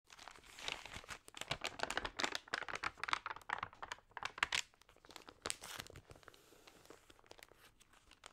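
Fingertips with long nails press, rub and scratch the damp pages of an open, water-sprayed glossy paper magazine, then turn a page. Dense, bright crinkling and crackling bursts fill the first half, then thin out into softer, sparser rustles.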